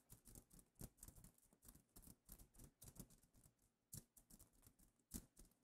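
Long painted nails scratch and tap across a flat fabric pillow cover covered in iridescent reversible plastic sequins. The result is a quiet, rapid stream of crisp clicks and rustling scrapes. A few sharper, bright taps stand out.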